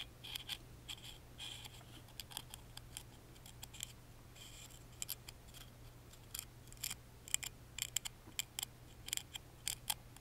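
A wooden toothpick taps and scratches along the carved front panel of a small, hollow, laser-cut wooden music box with a lattice pattern, held in one hand. Quick, dry, bright clicks and short scratchy strokes come in irregular bursts over a faint, steady low hum.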